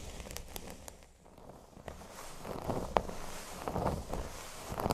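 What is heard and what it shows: Fingernails scratch a flat, thin, solid cork board lying on a table, first along its top edge and then across the center. The result is a soft, dry, crackling scrape with scattered clicks and ticks in an irregular rhythm, growing slightly louder and busier as the scratching moves to the middle.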